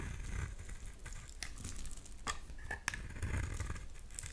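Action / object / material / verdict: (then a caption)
scrape / bar of soap scraped with a blade / soap / none. A utility knife blade scrapes flakes off a solid light green oval bar of soap. Soft, continuous scraping and crumbling sits over a low rumble, broken by a few sharp, bright ticks where the blade catches.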